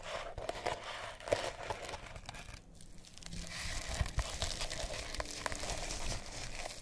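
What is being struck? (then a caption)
Sisal rope cat toy. A mouse-shaped cat toy wrapped in colored sisal rope is held in the hand and scratched along its rope coils with long nails. Dry, rough scratching and crinkly rasping continue throughout, with many short, sharp scrapes over a low rumbling base and a brief quieter stretch near the middle.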